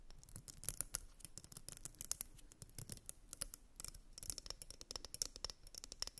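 Long nails scratch and tap along a purple glitter wide-tooth plastic comb resting on fluffy fabric. A rapid, uneven run of quiet, dry clicks and scrapes, bright and crisp with almost no ring, continues throughout.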